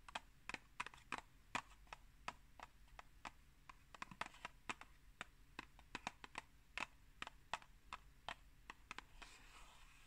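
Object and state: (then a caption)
Cardboard tea box tapped with nails. A tall, hollow, rectangular Pukka tea box made of printed cardboard is held upright and tapped with long acrylic nail tips. The result is a quick, uneven series of sharp, dry, bright clicks that die away almost instantly, heard quietly over a faint low background hum.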